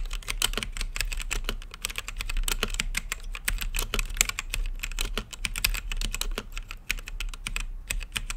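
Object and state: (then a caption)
Mechanical keyboard typing. Fingertips type steadily on an RGB-lit mechanical keyboard with plastic keycaps and a clear acrylic case, producing a fast, continuous stream of short, bright clacks. Each keypress is crisp and dies away almost at once, over a steady low rumble in the background.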